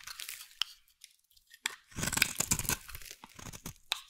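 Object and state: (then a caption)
Bar soap being carved. A metal blade is scraped along the face of a solid, hand-sized pink bar of soap, making dry, crunchy, crackling scrapes. Short sharp ticks alternate with quiet gaps before a denser, louder stretch of continuous carving in the middle. The sound is bright and crisp with little low end, and each scrape stops almost instantly with no ring.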